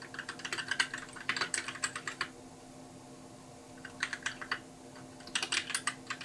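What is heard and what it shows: Fingertips type on a compact white mechanical keyboard with plastic keycaps, producing quick, bright clacks in three bursts separated by short pauses. Each keystroke is crisp and dies away almost instantly over a faint steady hum.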